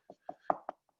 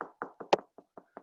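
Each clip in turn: First: Four quick, dull knocks on drywall with a mid-low thud; the wall is hollow here, with no stud behind. Second: Seven short, dry knocks on drywall, mid-high and dead, marking solid backing where a stud sits behind.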